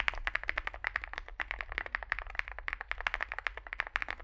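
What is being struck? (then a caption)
Mechanical keyboard with plastic keycaps. Fingertips type continuously on a small Zoom65 65% mechanical keyboard with a dark case and white and grey plastic keycaps. The result is a rapid, steady stream of short, crisp clacks centred around 2 kHz, each dying away almost instantly, over a faint low hum.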